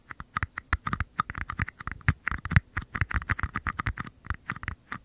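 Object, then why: Small paper cups. Fingers tap and scratch the paper bases of two identical small, empty paper cups held bottoms forward at the mics. A rapid, uneven series of short, dry taps with a soft low thump and papery scratch, each dying away almost instantly.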